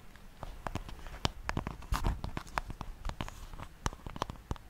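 Long manicured nails tap and scratch the wooden back of a flat, light-coloured, solid wooden paddle hairbrush held behind the microphone. Quick, irregular dry clicks with heavy low thumps come through, mixed with brief scratchy swishes. Each tap dies away almost instantly.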